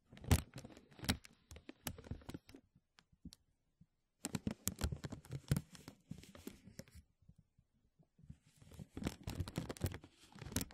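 Fingertips and nails tap and crinkle a thin, clear, embossed plastic vacuum-seal bag stretched over a mesh microphone dome. Dense bursts of sharp crinkling and soft, low thuds come in clusters, with a near-silent pause in the middle and a shorter lull before the sound picks up again. Each tap dies away almost instantly, leaving a close, dry, bassy rustle with a faint bright edge.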